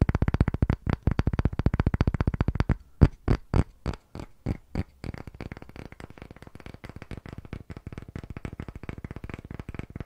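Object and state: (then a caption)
Wooden block tapped. Fingertips and short nails rapidly tap a solid, round, pale wooden disc block, palm-sized and gripped in both hands. Quick, dry, deep knocks start as a fast flurry, slow briefly into a few louder, spaced taps, then resume as a softer, dense patter. Each tap dies away almost instantly.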